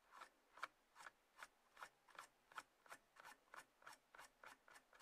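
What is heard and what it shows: Long nails of both hands scratch and rub the sides of a small, closed, hollow white-grey cardboard box resting on a table. About fifteen short, dry rasping strokes come in a loose rhythm, each a quick scratchy burst centred around 1.4 kHz with a bright hiss above. The strokes cut off sharply with almost no ring and no low end.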